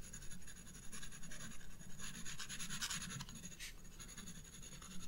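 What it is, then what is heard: Pencil shading on sketchbook paper. A black graphite pencil scratches dense shading near the bulb on a spiral paper sketchbook page. Quick, uneven back-and-forth strokes make a continuous bright, papery scratching over a steady low rumble, with a few louder, sharper bursts midway through.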